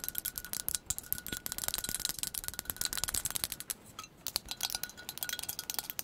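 Long pointed acrylic nails tap fast on a white ceramic "Cup of Sunshine" coffee mug with a handle, hollow and apparently empty. Rapid, bright, dry clicks with almost no ring keep up a steady patter, pausing briefly near the four-second mark before resuming.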